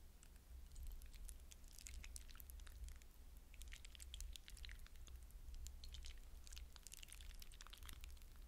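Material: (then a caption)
Hydrogel. Fingertips press and stir through a glass bowl of wet blue hydrogel water beads, making soft, continuous squishing and crackling. Bright, wet clicks and squelches come in clustered bursts over a steady low hum that lasts the whole clip.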